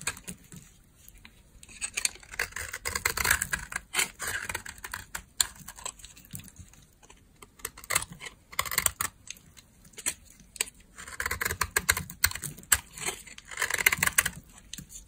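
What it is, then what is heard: Dry bar soap. A solid beige bar of dry soap is scraped and carved with a green-handled utility knife. Dry, crackly scraping comes in short bright bursts, clustered into several passes with quiet gaps between them. Each burst ends abruptly with no ring.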